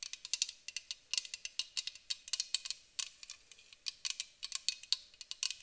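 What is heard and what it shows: Long acrylic nails tap a white aluminum aerosol spray can, first on its bottom and then along its side. Dozens of quick, irregular taps sound bright and metallic with a high ring, each very short and clicky, with no low end.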